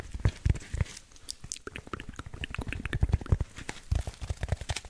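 A black packing foam insert block with cut-out channels is held above the microphone and scratched and rubbed with fingertips and short nails. The result is a dense run of soft, low, thumping scrapes mixed with brief dry crackles and squeaky bright ticks.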